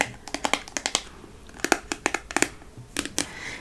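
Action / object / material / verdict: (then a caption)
tap / small sealed metal food can tapped with fingernails / metal / none. A small, sealed, full cylindrical olive-colored metal food can is tapped and scratched with long painted nails. Quick, bright clicks and taps come in irregular bursts, each dying away almost at once, with faint scratchy rasping between them.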